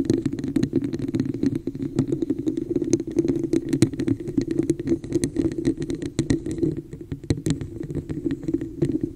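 Long nails scratch and tap quickly across a hollow, textured red plastic cup with a raised pattern, turned upside down over the microphone. A steady, dense stream of sharp clicks and raspy scratches rides on a hollow, boxy resonance in the low-mids, with bright ticks on top.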